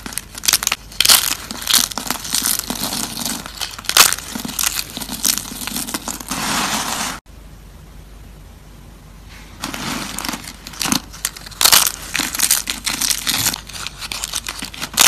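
A stack of thin, dried green soap slices is squeezed and crushed by hand, producing dense, bright, crinkly crunching. The crackling briefly cuts out about halfway through, stays quiet for a couple of seconds, then builds back into sharp crunches to the end.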